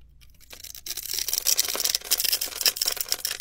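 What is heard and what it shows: A metal utility-knife blade scrapes and shaves across a hand-sized, solid light-blue soap bar that is pre-scored into a grid of small cubes and held in one hand, crumbling the little cubes off onto a marble surface. The sound is a dense, bright, crackly scratching that starts faint, builds after half a second, and continues in rough bursts with a high, hissing edge.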